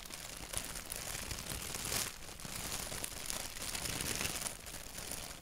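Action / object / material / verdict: scrape / thin paper sheet / paper / none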